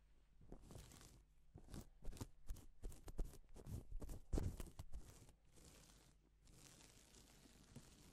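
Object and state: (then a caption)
Plastic flip-sequin fabric being brushed. A blue nitrile-gloved hand brushes its fingertips across a large, flat, thin and soft sheet of two-tone silver and pink reversible plastic flip sequin fabric, flipping the sequins' colour. Quick, irregular swishes of crisp rustling and crinkling sweep across the fabric, then settle into a quieter, steadier brushing toward the end.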